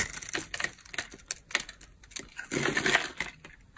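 A utility knife blade scrapes and cuts a solid blue bar of dry soap, carved into layered flakes and held in the palm. A rapid series of dry, crisp crunches and scratchy ticks plays out, irregular and bright. Near the end it swells into a longer, denser crackling scrape.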